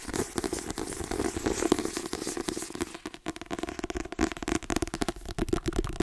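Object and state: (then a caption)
Paperback book with glossy card cover. Long nails tap rapidly on the front cover of a white paperback book with a glossy card cover, held upright. Quick, dry, crackly clicks with a hollow mid-low body blur into a dense patter at first, then thin into sharper, more separated taps.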